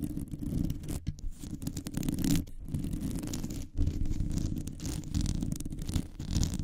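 Long nails scratch a round, hollow metal mesh microphone grille with both hands, producing a dense, continuous low rumbling and rustling that stays mostly deep with only faint high hiss. The scratching surges and fades, dropping out briefly a few times before picking back up.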